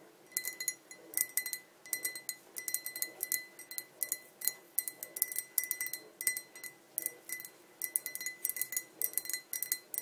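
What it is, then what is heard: Glass pint tumbler. A tall, clear, hollow and empty glass pint tumbler is tapped on both sides with long nails. Quick clusters of light, bright clinks ring with a steady glassy tone near 2 kHz and fade almost instantly. There is no low end, and brief quiet gaps fall between the bursts.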